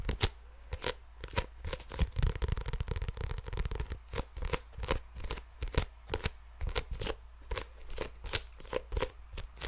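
Long nails tap and scratch a small sealed printed paper trading card pack with yellow anime artwork, held in one hand close to the microphone, while the fingers crinkle it. Quick, sharp, bright clicky taps come in a rapid, uneven stream, with a denser stretch of papery crinkling and scratching in the middle. A steady low hum sits underneath throughout.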